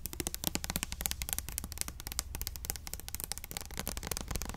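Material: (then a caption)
Plastic. A small clear orange plastic Ultimate Blends hair oil bottle, filled with liquid and held in the hand, is tapped quickly with long nails. The result is a dense run of sharp, dry clicks, each dying out almost at once, with a low steady rumble underneath.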